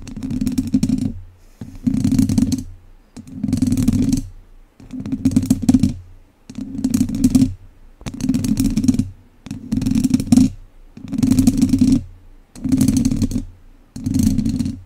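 Two wooden chopsticks scratch and tap a hollow, domed wire-mesh microphone grille from both sides. The sound comes in short, rough bursts of about a second each, repeating steadily about every one and a half seconds. Each burst has a dense, boomy low rumble under a faint bright hiss, with near silence between bursts.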